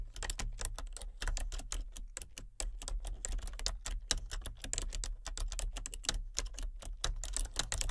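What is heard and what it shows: Long fingernails tap rapidly across a full-size, hollow-bodied plastic computer keyboard with color-changing backlit keys. The result is a steady stream of sharp, bright clicks with short gaps between bursts, over a constant low hum.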